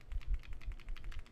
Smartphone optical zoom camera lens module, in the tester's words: it has to do with the optical zoom lens if you shake the phone you can hear it rattling